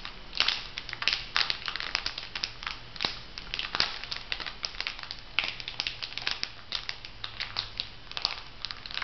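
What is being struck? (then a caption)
Foil sheet-mask packet. A filled, flat printed foil sheet-mask packet is bent and crinkled by hands, making dense, bright crackling and crinkling with many sharp snaps. A faint steady low hum sits underneath.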